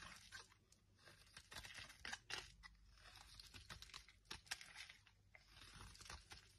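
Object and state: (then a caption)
Dry bar soap. A palm-sized, solid oval bar of dry blue marbled soap, held in the hand, is carved and scraped with a small metal knife. Brittle flakes break off in a run of quick, dry, crisp crunches and scrapes. The sound is bright, with very short decay and little low end.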